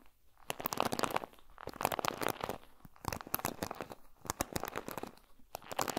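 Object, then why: Plastic paddle hairbrush bristles. A black plastic paddle hairbrush with pin bristles is held in front of a recorder while fingertips and nails stroke and pluck along its plastic bristles. The result is a dense, crinkly, scratchy crackle of many quick, sharp clicks and short bright bursts, mostly in the mid and upper range, with little low end.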